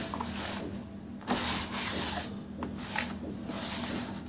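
Bare fingertips and palms scoop, rub and crumble handfuls of fine, dry, grey-brown powdered dirt in a large round tub, letting it fall back onto the pile. A soft, bright, hissing rustle swells and fades in waves, loudest in the middle of the clip and again near the end.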